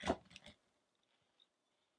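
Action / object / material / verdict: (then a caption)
scrape / carved wooden statue under a chisel / wood / none. A metal gouge or chisel carves and scrapes the upper body of a solid, light wooden Buddha sculpture while the other hand steadies its head. A quick cluster of crisp, dry scraping cuts fades out within about half a second. It is followed by silence and one faint, high tick.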